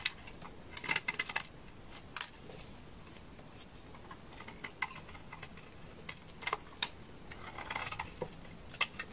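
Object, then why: Bar of laundry soap. A utility knife blade shaves thin flakes off the face of a solid beige, dry bar of laundry soap. Sharp, bright scraping cuts and crisp crackles come in short clusters, each one dying away almost at once over a quiet background.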